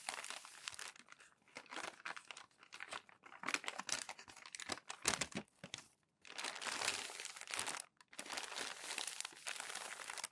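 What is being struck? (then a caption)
Glossy magazine paper pages. Fingertips and palms smooth and rub a stack of crumpled glossy magazine pages flat. Bright, crisp crinkling and rustling comes in bursts separated by short silences, with almost no low end and quick dry decays.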